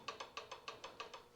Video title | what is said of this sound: 1929 John Deere GP Part 11: Governor/Fan Shaft Setup, Magneto Timing & Random Assemblies | you can hear that slight ticking a little bit of backlash in there just enough